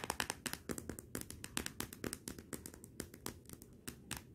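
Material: Glass.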